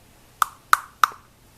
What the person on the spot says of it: hear that that just sounds like plastic